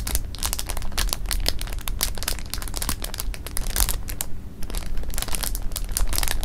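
Fingertips with painted nails rub, press and scratch a full clear plastic bag of jelly beans resting on fabric. Dense, continuous crinkling and crackling fills the clip as sharp, bright clicks over a steady low rumble, with a brief quieter lull just past four seconds before the rustling picks back up.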